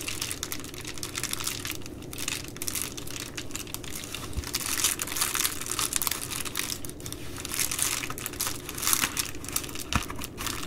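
Fingers with long nails fold and squeeze the rolled top edge of an empty Amazon Prime poly bubble mailer. The result is a steady, bright plastic crinkling made of dense, quick crackles that swell and fade over about ten seconds, with a couple of faint low thumps underneath.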